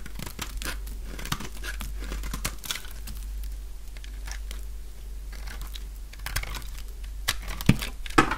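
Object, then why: Bar soap shaved with a blade. A light-green bar of dry solid soap, cut down to a slab, is shaved with a utility knife blade. Dense, crunchy scraping and crackling come in quick, irregular cuts over a steady low hum, with a few sharper snaps near the end.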